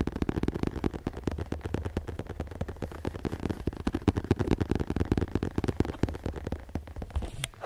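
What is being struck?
Padded leather chair seat.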